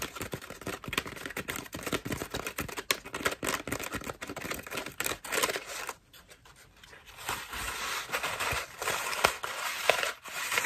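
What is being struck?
Foam bath loofah.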